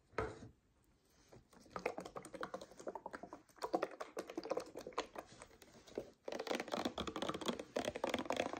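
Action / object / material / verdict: tap / paperboard drink carton with plastic cap / paperboard / none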